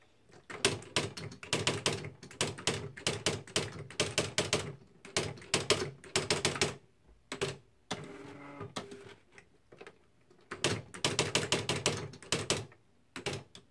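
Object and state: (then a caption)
Plastic electric typewriter being typed on. Both hands type with their fingertips on the plastic keys of a beige plastic Smith-Corona Mark V electric typewriter, and the internal strikes are heard. Runs of quick, bright, clattering key strikes come in bursts separated by short pauses. Around the eight-second mark there is a steadier mechanical whirring stretch with a low tonal hum.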